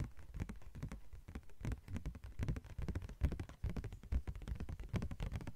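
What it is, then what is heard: Thin plastic sheet tapped with nails. A thin yellow-green translucent plastic sheet is tapped with long nails. The result is a quiet, irregular patter of quick, dry clicks with a soft, low body and almost no ring.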